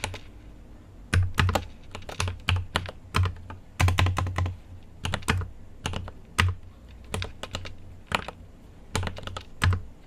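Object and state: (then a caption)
Mechanical keyboard with plastic keycaps. Fingertips type on a mechanical keyboard with an aluminium case and plastic keycaps, producing bursts of crisp keystroke clicks with a low, thocky body. The keystrokes come in uneven clusters with brief pauses between them, each hit sharp and short with a bright top edge.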